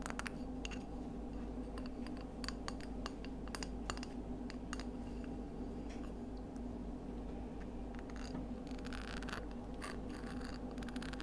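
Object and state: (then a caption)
Scallop seashell. Long acrylic nails tap and scratch along the ridges and smooth inner surface of a palm-sized, hollow, empty pink-white ridged scallop shell held in both hands. Quick, dry clicks and brief scraping bursts sit over a steady low hum.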